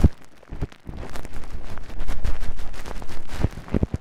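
Clear plastic cling film, bunched into a fist-sized round muff over a Tascam microphone, is lightly scratched and tapped by the fingertips and long nails of both hands. The close crinkling and rustling is muffled and heavy in the low end, with soft, deep thumps from the taps over a dense, uneven texture that grows busier and louder through the middle of the clip.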